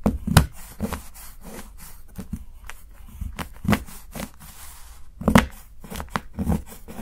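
A steel kitchen knife chops shavings from the edge of a solid, segmented dark chocolate bar held by fingertips. About ten short, crisp chops land at an uneven pace, each a dull low thud with a brief brittle crack that stops almost at once.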